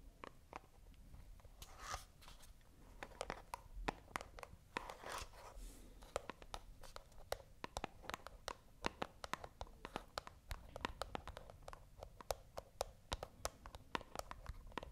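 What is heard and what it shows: A small, hollow white printed cardboard box is held in both hands close up and scratched with long acrylic nails. Quick, dry scratches and taps come in dense, irregular bursts of sharp, bright clicks over a soft background hiss.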